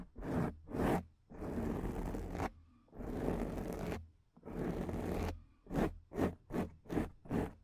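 Long painted acrylic nails on both hands scratch across a black, soft, porous, fist-sized foam windscreen covering a microphone. Two quick scratches lead into three longer, sustained rasping scrapes, then a run of short, rhythmic scratches. The sound is close, muffled and bass-heavy, with a soft crunchy texture.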